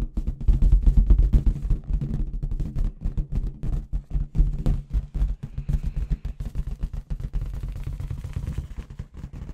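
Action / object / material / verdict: tap / inflated latex balloon with confetti inside / latex / none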